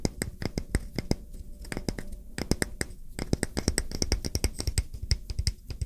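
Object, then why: Wooden coaster. A solid round wooden coaster, held flat in one hand, is tapped rapidly on its face with fingertips and short nails. The result is a fast, uneven stream of short, dry clicks with a low body thump and bright nail ticks, each dying away almost instantly.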